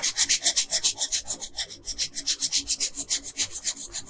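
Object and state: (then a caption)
Pencil coloring on a paper sheet. A yellow colored pencil, held by a hand with long pink nails, scratches and rubs back and forth across a flat paper coloring page. About 24 quick, steady strokes are heard as bright, high scratchy hisses, each fading almost instantly with very little low-end body.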